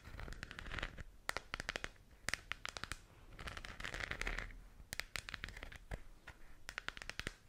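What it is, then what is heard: Plastic lamp globe tapped and scratched with nails. Long acrylic nails scratch and tap the textured surface of a lit, hand-sized hollow plastic sphere lamp with a galaxy print. Sharp, bright clicky taps come in quick clusters over stretches of dry, crinkly scratching with a midrange hiss. Each tap stops almost at once, leaving a brittle, hollow sound.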